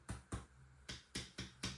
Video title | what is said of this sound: 094_Part1【修理どうでしょう】ネック裏側からトラスロッド交換 最悪の事態が待っていた！ | キツキツに埋まってますから、まずね、動くことはないんですけど